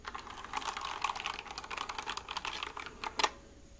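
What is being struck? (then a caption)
Plastic mechanical keyboard. A white plastic mechanical keyboard held near the mic is typed on with fingertips, giving a fast run of crisp, bright, clicky keystrokes. It is tilted at the end, marked by one louder, sharper clack before the sound trails off.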